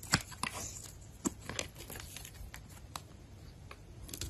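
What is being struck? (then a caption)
Bar of soap cut with a blade. A box-cutter blade shaves and scrapes flakes off a solid white oval bar of soap held in a hand with long pink nails. Dry, crisp scraping and crackling cuts come in irregular bursts, with a few sharper, louder snaps over a soft, steady scratchy hiss.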